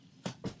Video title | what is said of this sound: clip 2013 08 11 13;24;14 | it sounds solid when it hits the ground